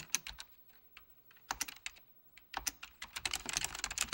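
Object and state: Mechanical plastic keyboard being typed on.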